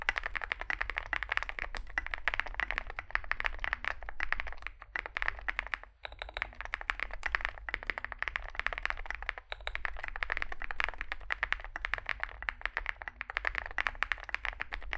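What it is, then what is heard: Mechanical keyboard with plastic keycaps being typed on. Two hands type with their fingertips on a Zoom65 65% mechanical keyboard with a solid metal case and grey and white SA-profile plastic keycaps, resting on a desk mat. A fast, steady stream of short, crisp, clacky keystrokes fills the clip, with brief pauses near 6 and 9.5 seconds, over a faint low hum.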